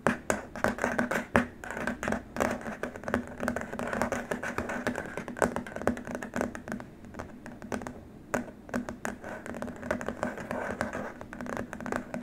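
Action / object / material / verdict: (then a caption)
tap / rigid plastic keyboard wrist rest / plastic / none. Fingertips and nails tap quickly and scratch across a long, flat, white rigid plastic keyboard wrist rest, making a rapid, typing-like clatter. The short, dry clicks come in dense, uneven bursts over a faint steady low tone.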